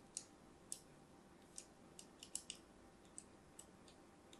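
An orange and white striped solid soap bar held in hand has crosshatch lines scored into its surface with a thin metal blade. The blade makes a series of short, sharp, bright clicks and scratches with quick decay over a quiet hiss.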